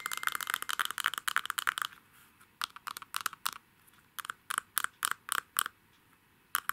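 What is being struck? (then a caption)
Gold-coated glass perfume bottle. A palm-sized, hollow, faceted gem-shaped Lady Million perfume bottle, made of glass with a shiny gold metallic coating, is held in both hands and tapped and scratched with fingernails on its faceted surfaces. A quick flurry of dense, crisp clicks and scratches fills the first two seconds, then sparser, separate taps follow with quiet gaps between them. Each tap is short and bright, with a glassy tone around 1.5 kHz and almost no ring.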